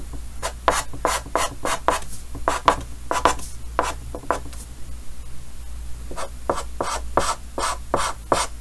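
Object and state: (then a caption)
Chalk writing on a chalkboard. Yellow chalk held in the fingers writes and scratches lines across a large, flat, solid painted chalkboard with a green frame. Quick bursts of bright, gritty scratching repeat in short strokes, centered around 1 kHz, over a steady low hum.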